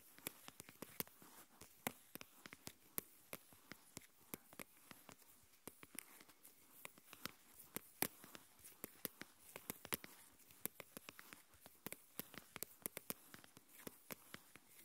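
Long nails tap and scratch the walls of a lidded translucent plastic tub, partly full of coarse salt, held in both hands. Dozens of quick, bright clicks that die away at once sit over a soft, steady scratchy hiss, all at a quiet level.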